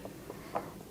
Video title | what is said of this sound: No Screen Time, STEAM Time - Science of Oobleck | i can tap on it you can hear it it doesn't even sink into it